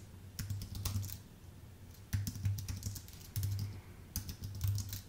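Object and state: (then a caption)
Aluminium and plastic keyboard being typed on. Fingertips of both hands type steadily on a full-size white Apple Magic Keyboard with numpad, with a thin aluminium base and plastic keycaps, resting on a dark desk. Quick, soft key taps come in bursts, each with a bright click over a low, muffled thud, against a steady low hum.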